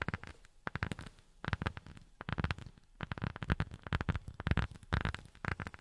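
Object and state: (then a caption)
Rubber sheet. A rubber sheet is tapped with silicone rubber finger pads in quick, uneven bursts of soft, dull taps. Each tap is a low, muffled thud with a brief brighter tick that dies almost at once, and short pauses fall between the clusters.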